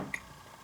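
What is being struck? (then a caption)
Stainless steel frame lock folding knife. A CRKT Drifter, a stainless steel frame lock folding knife, is dropped onto a table and lands with two quick hits: a dull knock, then a sharp, bright metallic click ringing near 2 kHz that dies away almost at once. The sound is cold and obtrusive rather than warm, fitting a clunky little piece of metal.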